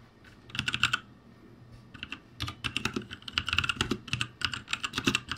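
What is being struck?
Plastic mechanical keyboard.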